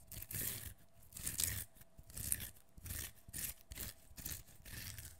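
A partly peeled, solid, fresh whole cucumber is held in one hand while its skin is peeled and scratched off with the fingernails. The result is a series of bright, crisp scraping and tearing strokes with a soft low rustle underneath, coming in uneven bursts about once a second with short quiet gaps between them.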